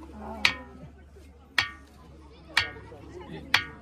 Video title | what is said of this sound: Ringing Stone Ambe Hatvij Junner | याचा आवाज कसा येतोय मंदिरातली घंटी वाजल्या कसा आवाज येतो ना